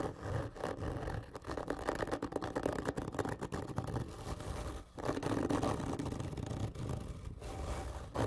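Both hands scratch hard and slowly with long fingernails across a large, hollow, black printed cardboard whisky gift tube lying horizontally. The result is a dense run of rough, scraping rasps with a hollow, boomy resonance in the low-mids and little high-end hiss. There is a brief dip just before the five-second mark before the scratching resumes.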